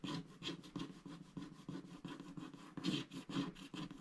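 A wooden stylus scratches the black coating of a flat scratch-art paper sticker sheet with giraffe motifs, held by one hand on a dark mat. It makes a quick run of dry, rasping scratch strokes with low body and a bright, hissy edge.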